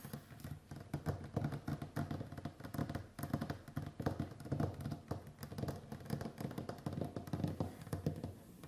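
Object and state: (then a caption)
Wooden tabletop tapped with fingernails. Long white-painted acrylic nails on both hands tap and drum across a large, solid, varnished wooden tabletop. The result is a fast, continuous patter of short, dull knocks with a low, woody body and almost no bright ring, each tap dying away almost at once.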